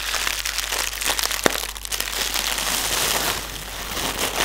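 Clear plastic air pillow packaging, hollow air-filled cushions with green print, is tapped, pressed and crinkled by fingertips. A steady bright crinkling and rustling runs throughout, with one sharp tap standing out near the middle.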